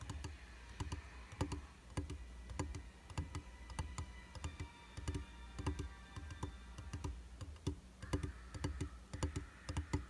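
Fingertips and short nails tap irregularly on the flat, solid glass of a round vanity mirror in a white frame, its surface beaded with water droplets at first. The result is a steady patter of quick, dry taps and clicks with soft low thuds beneath them and almost no ring, over a faint sustained hum.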